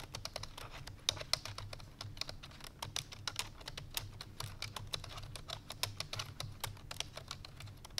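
Fingertips with long painted nails rapidly press the keys of a full-size black plastic computer keyboard resting on a white fur rug. A fast, steady stream of dry, bright typing taps ends instantly with no ring, over a faint low hum.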